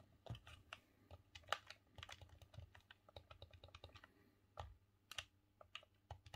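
A green hollow plastic Nintendo 64 controller is held in both hands while thumbs repeatedly press and click its buttons, D-pad and analog stick. The result is a quick, irregular run of short, dry plastic clicks and taps, some brighter and sharper than others, each dying away almost instantly over a faint low hum.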